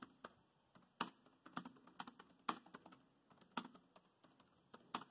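Fingertips of both hands tap the black plastic chiclet keys of a grey laptop in continuous typing. Quick, quiet plastic clicks with a mid-range tone around 1.2 kHz and very short decay come in an uneven rhythm, with some sharper, louder key strikes standing out.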